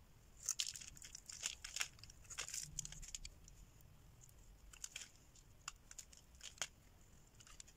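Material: Soap.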